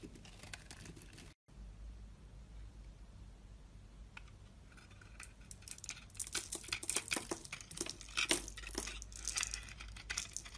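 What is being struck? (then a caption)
Soap bar shaved with a blade. A utility blade scrapes and shaves flakes and curls off a solid pink rectangular bar of soap embossed "Actimed," held in one hand. Soft, dry scraping gives way to denser, brighter crackling shaves that grow louder and more frequent in the second half, after a brief drop to silence near the start.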